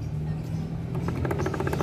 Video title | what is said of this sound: hondac click isue | yan ang tunog nya, guys, pag may issue yung inyong gearings